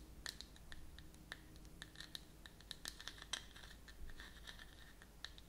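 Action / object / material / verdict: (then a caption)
scrape / plastic screw lid of a cream jar / plastic / none. Long natural nails scratch and tap the flat top of a round white plastic screw lid on a closed cosmetic cream jar held in one hand, in quick strokes. The result is a steady, quiet run of dry, bright scratches and sharp little clicks, ringing out almost instantly, with a tonal edge near 3 kHz over a low background rumble.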